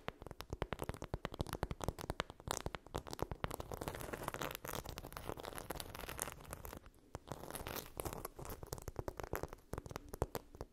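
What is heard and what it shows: Long pink nails scratch and tap rapidly over a hand-sized, flat blue chunky-glitter phone case, likely on a phone, lying on a fluffy blanket. The result is dense, dry, gritty scratching with crisp clicking taps that stop short with no ring, heavy in the low end and with only a little high sparkle, pausing briefly around the seven-second mark.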